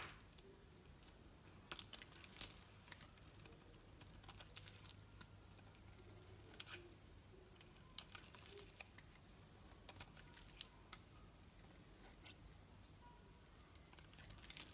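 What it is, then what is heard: Bar soap being shaved with a knife. A knife blade scrapes thin strips off a solid green painted soap bar with a pink rim, held in the palm. The quiet, bright, crinkly scraping is broken by scattered sharp clicks and brief crackles over a steady low hum.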